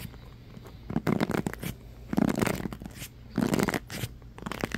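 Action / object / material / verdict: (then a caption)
scrape / plastic paddle hairbrush with bristles / plastic / none. A black oval paddle hairbrush with a plastic body, rubber cushion and many bristles is held in one hand while fingertips and nails scratch and rub across the bristles. Three louder bursts of crackly, brushing scratches rise out of a soft background rustle, with a lighter run of scratching at the end.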